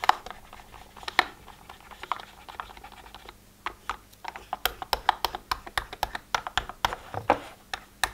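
A thin pen-like tool taps quickly across the hinged lids of a hollow, multi-row translucent plastic weekly pill organizer. Soft scratchy clicks in the first half give way to a rapid, even run of sharp, bright plastic ticks that die away almost instantly, over a faint low hum.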